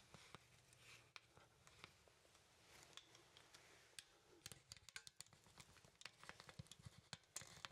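Fingers pose the arms of a small, solid wooden artist's mannequin, and its wooden joints give quiet, sharp clicks. The clicks are bright and very short and come in a scattered run that grows busier toward the end, over a low, steady hiss.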